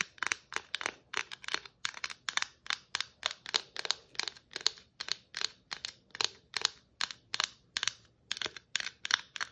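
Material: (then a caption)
Plastic. Long nails tap and scratch across the shiny and glittery stripes of a hollow red and white glitter-striped plastic Christmas ornament ball held in both hands. The result is a rapid, steady series of short, dry, bright clicks and scrapes with almost no ring and no low end.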